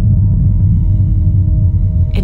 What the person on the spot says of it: 你听说它甚至不是空心的吗？这是纯铁。